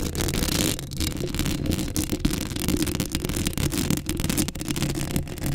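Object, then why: Metal mesh microphone grille. Long acrylic nails scratch the hollow metal mesh grille of a black Blue Yeti microphone up close. The result is a continuous, dense, scratchy rasp with a heavy low-end rumble and bright crackling detail, rising and falling in rapid, uneven strokes.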